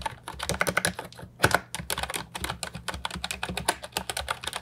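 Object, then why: Plastic mechanical keyboard with round keycaps. Fingertips type continuously on the round keycaps of an Ajazz 308I, a brown and white plastic retro mechanical keyboard with a hollow body, resting on a wooden desk. Quick, bright, clacky key strikes come in a steady, uneven stream. Each one dies almost instantly over a faint low, hollow thump.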